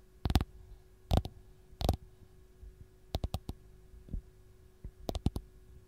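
Long gold-painted nails tap and scratch the textured peel of a single whole, solid, raw fresh lemon. The result is soft, dry clicks and thuds in irregular clusters, mostly low and dull with brief bright edges and no ring. A faint steady hum sits underneath.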